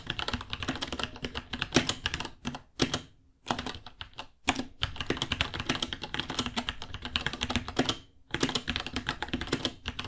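Both fingertips type steadily on a small white 66-key mechanical keyboard with Gateron Brown switches, white plastic keycaps and a hollow case with pink underglow, resting on a white desk. Rapid bright clacking key taps with a hollow low-mid body run in dense bursts, broken by brief pauses before the typing resumes.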